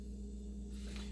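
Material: Nothing is struck.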